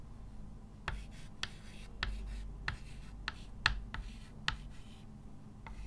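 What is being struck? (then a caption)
Chalk stick on a chalkboard. A hand writes with a short white chalk stick on a framed dark chalkboard lying flat, making a steady scratching rub. Sharp, bright taps and squeaks mark each stroke over a quiet, low background hum.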